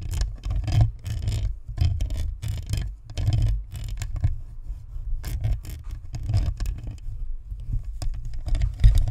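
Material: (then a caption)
Plastic. Long nails tap and scrape the sides and top of a white plastic spherical USB microphone with a metal grille. The result is a dense run of quick, dull thumps and rubbing scratches, boomy and muffled, with almost all the energy in the deep low end. Each tap dies away almost at once.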